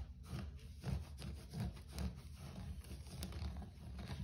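A hand scratches and rubs the short pile of a flat, grey carpeted floor with fingertips and nails. The result is a soft, muffled, low rubbing and scraping that comes in uneven swells, with little brightness and almost no ring.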